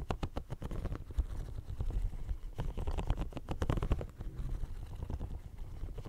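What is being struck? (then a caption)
Silicone studded pencil case. Fingernails scratch and rub the studs of a hollow, pink, bumpy silicone studded pencil case held close to the microphone. The result is a dense run of short, dull scrapes and soft thuds, heavy in low rumble with almost no bright content, rising and falling in quick bursts over six seconds.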